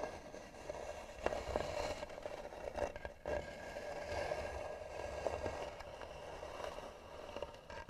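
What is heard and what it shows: Long nails scratch slowly and firmly across the lid of a hollow, tan, carved wooden box. The result is a steady, gritty scraping with a faint hollow ring around 500 Hz, punctuated by sharper catches and brief pauses between strokes.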